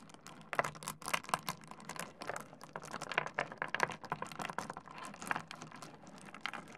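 Fingers pick up, rub and clack small solid stone pebbles against each other in a pile on a wooden desk. A rapid, uneven series of sharp, bright clicks and clacks rises over a soft gritty scraping, each tap dying away almost instantly.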